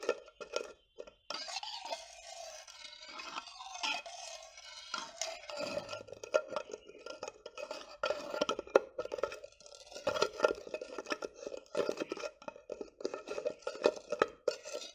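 Fingertips and nails tap on and twist the gold metal screw lid of a clear, mostly empty glass jar. The result is a quiet stream of quick clicky taps, light clinks and scratchy scraping, with a steady mid-pitched ring near 535 Hz and bright, crisp edges.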